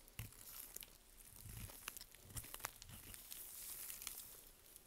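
A small curved knife carves and scrapes thin, crunchy flakes off a dry, crumbly bar of Svoboda green-tea toilet soap held in purple nitrile-gloved hands. The result is a run of crisp, bright crackling and scraping with sharp clicks over a steady hiss, and soft low thuds beneath.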